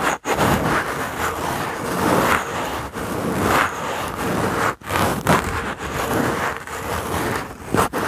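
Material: Wood.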